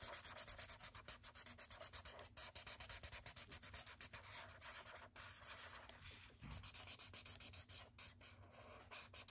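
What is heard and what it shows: A thick yellow felt-tip marker held in the hand rubs and scribbles over a large white paper sketchbook page lying flat on a wooden desk, filling in a shape. Rapid, bright, hissy scratching strokes repeat in quick succession, with a few brief pauses between bursts.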